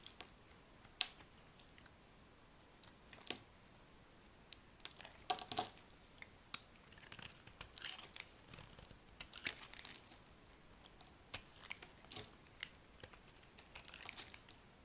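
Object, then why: Soap bar cut with a metal blade. A metal blade carves a solid yellow bar of soap, and chunks break off. Quiet, crisp scraping and crumbly crackles come in short bursts, bright and high with little low end. Each crunch stops dry with no ring.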